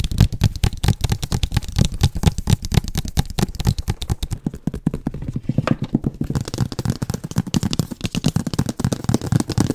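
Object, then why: Large cardboard box. Fingertips and nails of both hands tap and scratch a large, hollow printed cardboard Oculus Quest product box. A rapid, continuous stream of short, dull, hollow thumps sits mostly in the low range, with light scratchy clicks on top. Each tap dies away almost instantly.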